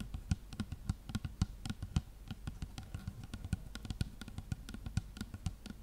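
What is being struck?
Plastic shampoo bottle.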